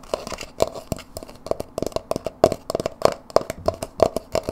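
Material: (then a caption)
Plastic. A small, empty white plastic dip tub, hollow and open and held in the hands, is tapped and scratched with long nails along its sides and rim. The result is a rapid, irregular run of short, dry clicks and taps with almost no ring. A hollow plastic tone sits around 645 Hz, mixed with faint scratchy texture between the hits.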